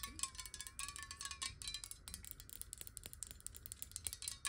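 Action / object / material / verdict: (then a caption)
tap / glass water bottle with some water / glass / none. Long nails tap quickly on a clear glass water bottle that is held horizontally, tilted, and partly filled with water. The result is a rapid stream of short, bright clicks with a faint glassy ring near 1 kHz.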